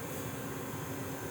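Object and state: Nothing is struck.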